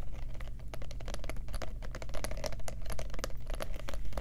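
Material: Faux leather.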